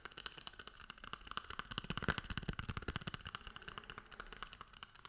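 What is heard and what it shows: A paper toilet roll is tapped and rubbed, giving a quiet stream of rapid, irregular, dry taps with a soft papery rustle between them. The taps grow slightly louder around the middle and then ease off.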